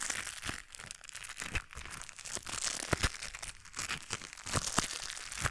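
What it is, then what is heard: Rubber-coated knit work gloves. A pair of white knit work gloves with a blue textured rubber coating: the gloved fingers crinkle and rub together just above the microphone. A dense, bright, scratchy crinkling plays throughout, with quick dry crackles and a few sharper snaps standing out. The short ticks stop dead with no ring.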